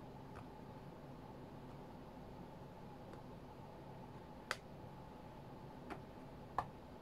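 Fingertips of both hands tap on the glass touchscreen of a flat white iPad tablet. Three short, sharp ticks stand out over a quiet, steady hiss, along with a few fainter clicks earlier. Each tap is dry with no ring.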